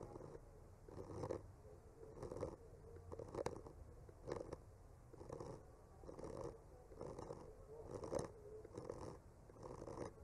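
A bamboo skewer tip gently scratches and traces the painted lines of trunks on a solid wood panel. Soft, quiet scratching strokes come roughly once a second in uneven swells, with a dull midrange rasp over a faint low rumble.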